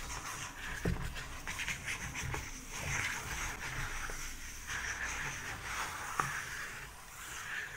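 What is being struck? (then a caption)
Paper book pages. Fingertips and a flat hand brush and scratch back and forth across the paper pages of an open paperback-style book lying flat. A steady, dry, hissing rustle rises and falls with each stroke, and two brief sharper ticks stand out.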